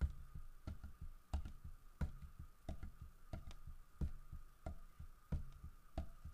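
Fingertips tap on a large, solid carved wooden bear statue holding a fish, striking both the fish and the body. The taps are soft, dull, low thuds that die away almost instantly, falling in a loose, uneven rhythm over a faint steady hum.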